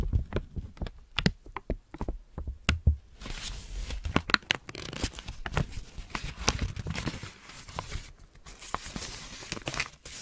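A thin, already-creased white paper sheet is held between both hands with long natural nails, stretched, then folded and crumpled with the fingertips. For about three seconds it gives sharp, separate crackling snaps. After that it becomes a denser, continuous bright crinkling with a soft hiss and a few louder pops.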